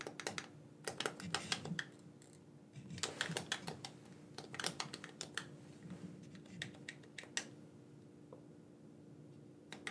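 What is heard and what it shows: A black, wired, hollow, hand-sized plastic gamepad is held in both hands while its buttons are pressed and clicked with thumbs and fingertips. Sharp, bright, dry plastic clicks come in quick clusters separated by short pauses, over a faint steady hum.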